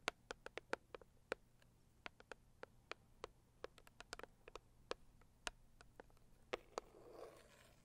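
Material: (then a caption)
Cardboard. Long acrylic nails tap the lid of a medium, closed, hollow pink floral cardboard gift box, giving 22 quick, dry, bright clicks with almost no ring in an irregular rhythm. Near the end, a soft scratching rustle rises briefly under the last taps.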